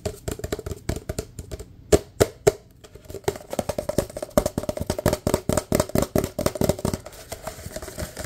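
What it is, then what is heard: Empty paper cup. Fingertips tap fast and hard on the bottom and sides of a large, empty, hollow white paper cup with red print. Dozens of short, dry taps come in an irregular rapid run, each with a hollow, low-mid knock that stops almost at once.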